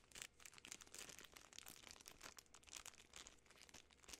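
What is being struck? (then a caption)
Plastic film candy bar wrapper. A full Butterfinger candy bar in a sealed plastic film wrapper is crinkled by fingertips and long nails. It makes a continuous run of quiet, bright, crackling crinkles with short sharp bursts and very little low end.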